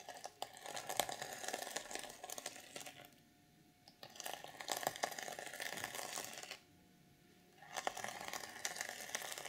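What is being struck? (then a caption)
Plastic sequin fabric cover. Long purple nails scratch and flip the plastic sequins on the reversible sequin cover of an unwrapped journal. The result is dense, bright, dry crinkly scratching and clicking, broken by two short near-silent pauses.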